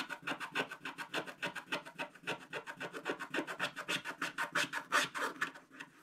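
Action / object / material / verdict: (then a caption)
scrape / scratch-art paper card scraped with a wooden stylus / coated paper / none. A wooden stylus rubs off large areas of coating on a black-coated scratch-art card page in a spiral book. About three dozen quick, somewhat uneven back-and-forth strokes make a dry, bright, rasping scratch with little low end.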